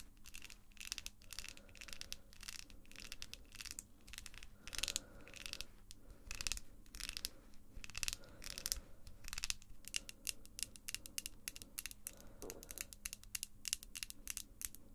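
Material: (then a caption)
Acrylic plastic. Long pink acrylic false nails with small, solid hard plastic tips click, tap and scratch against one another up close. A rapid, uneven run of sharp, bright clicks dies away instantly, mixed with short scratchy rasps over a faint low hum.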